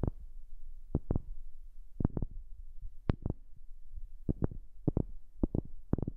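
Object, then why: Wooden object. A wooden object is tapped in an irregular series of short, dry knocks, often in quick pairs, recorded close up on a new microphone. Each tap has a soft low thump with a brief bright click and dies away almost instantly, over a steady low rumble.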